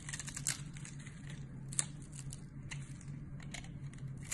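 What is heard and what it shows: A box-cutter blade scrapes and cuts into the scored, grid-like face of a solid, hand-sized, translucent yellow glycerin soap bar held in one hand, shedding crumbly flakes. Quiet, bright crinkly scratching and crackling clicks run throughout over a steady low hum, with one sharp snap standing out midway.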